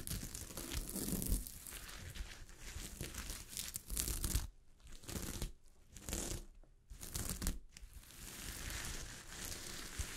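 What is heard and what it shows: Long fingernails scratch and flip a sheet of fabric covered with small gold sequins, making a dense, crackling, tearing-like rustle that spreads from low thumps up to a bright, hissy shimmer. The steady scratching breaks into short separate bursts with quiet gaps in the middle, then settles back into continuous crinkling.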